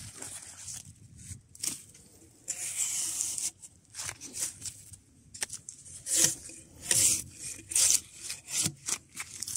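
A gloved hand pulls a draw knife down a solid spruce softwood log with bark, standing at an angle among shavings and partly stripped. Bright, hissy scraping and tearing strokes come at an uneven pace, with one longer steady scrape early on, as strips of bark peel away.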